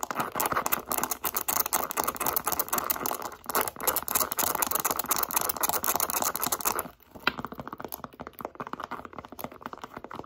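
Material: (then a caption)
Leather. Long pink acrylic nails rapidly tap and scratch on a small, hollow, light-blue pebbled leather Michael Kors zip wallet held up in the air, making dense, bright clicking and scraping. The fast, irregular noise runs steadily for about seven seconds, then drops quieter and sparser for the rest of the clip.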